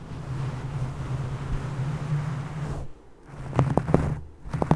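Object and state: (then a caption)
Knitted yarn fabric. Fingertips with long painted nails rub and scratch soft teal cable-knit fabric, probably a sweater or beanie, draped over the microphone. A steady, muffled low rustle fills the first three seconds, then drops to near silence. Sharper, dry scratching bursts follow near the end.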